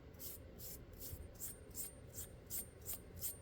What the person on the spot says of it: it sounds like metal. You hear that tone? Just from running my fingers on it?